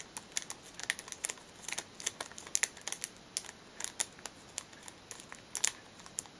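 Long fingernails tap and scratch the top of a small, flat, pale blue cardboard product box sealed in cellophane, lying on a cushion while the other hand holds it steady. The result is an irregular run of sharp, bright crinkly ticks and scratches with almost no low end, each click dying away instantly over a faint hiss.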